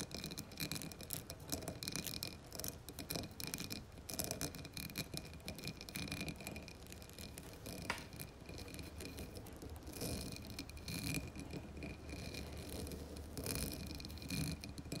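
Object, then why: Embossed glass candle jar filled with wax. Long nails scratch across a dark blue embossed glass candle jar filled with wax, rubbing over the textured glass and the label area. The result is a dense, continuous bright rasping and scraping, broken by quick small clicks and one sharper click near the middle.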